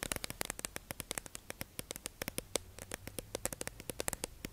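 A hollow, clear plastic tube-shaped beauty sponge package holding makeup sponges is held in the hands and tapped and scratched with long acrylic nails. About thirty quick, dry clicks land in a rapid, uneven patter, each sharp and bright with a slight hollow plastic tone near 500 Hz. They sit over a faint crackly hiss and die away instantly.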